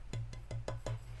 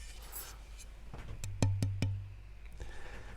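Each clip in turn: First: rosewood fretboard blank with good tap tone. Second: ebony fretboard blank tap tone.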